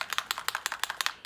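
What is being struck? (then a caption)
Plastic paint spray bottle with mixing ball. A white Dina Wakley Media Gloss spray bottle is shaken hard before use, and the mixing ball inside rattles as the paint is mixed. It makes a quick series of sharp, bright clicks that die away almost at once, with no low rumble.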